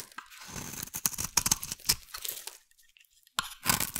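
A metal blade carves and scrapes a hand-sized solid blue bar of soap into flakes, producing a run of bright, dry scraping crunches and crinkly tearing sounds. The strokes go quiet for a moment near the end, then resume with a few more crisp cuts.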